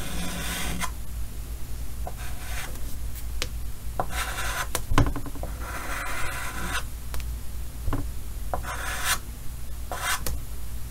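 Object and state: Chalk drawing on a chalkboard.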